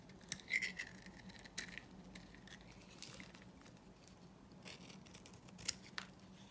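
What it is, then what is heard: Bar soap being shaved with a blade. A small metal blade shaves and dices pieces off a dry, solid green oval bar of Korean soap held in the palm. The result is quiet, crisp, bright scraping and clicking with short, dry ticks over a faint low background hum.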